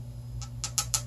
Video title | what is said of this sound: Refillable Glass Perfume and Cologne Fine Mist Atomizers by L'AUTRE PEAU Full Review | Sounds like glass. Okay, the thing is definitely glass.